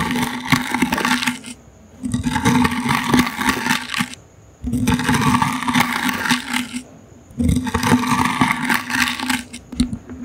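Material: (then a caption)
Wicker. Toothbrush bristles scratch over a small, hollow, brown woven wicker basket held in the hand, making dense, crackly, rasping strokes in four bursts of about two seconds each, separated by brief pauses. The scratching is broadband with a low hum-like band around 250 Hz running through it, and a faint high tone lingers in the quiet gaps.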